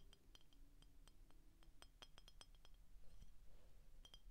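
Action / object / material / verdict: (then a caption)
tap / clear glass soda bottle / glass / none. Short painted fingernails tap the glass neck and shoulder of an empty, hollow, clear glass Frostie root beer bottle with a paper label. The taps come as quiet, irregular clinks, each a brief bright ping with a high ringing overtone that dies away almost at once, over a low, steady background hum.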